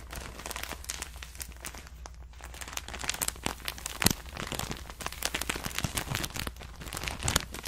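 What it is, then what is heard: Plastic bag of cotton pads. A clear plastic bag full of cotton rounds is held up and crinkled between the fingers. Dense, bright crinkling and crackling snaps come in quick irregular bursts over a steady low hum, with a few sharper pops standing out.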